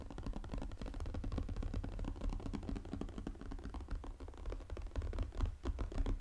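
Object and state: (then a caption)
Cardboard puzzle box tapped and scratched. Fingernails rapidly tap and scratch the glossy lid of a 500-piece jigsaw puzzle's cardboard box lying flat. The result is a dense, continuous stream of quick, dull clicks and scratchy strokes, heavy in the low end, with each tap dying away almost instantly.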